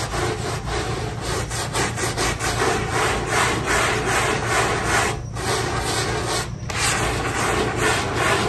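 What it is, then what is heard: Synthetic carpet tile being scrubbed. A handheld scrub brush in a yellow-gloved hand scrubs the pile of a small, square, dirty synthetic carpet tile that is wet and foamy. The result is a steady, bristly, rasping rub that repeats in quick back-and-forth strokes, with two brief pauses in the middle.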